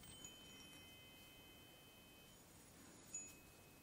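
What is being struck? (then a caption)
Metal chime tubes on a wooden base. Fingertips with long painted nails tap and stroke across a small desktop chime of several hollow silver metal tubes mounted on a wooden block. Two soft strikes set off bright, high ringing tones that overlap and linger quietly over a faint hiss.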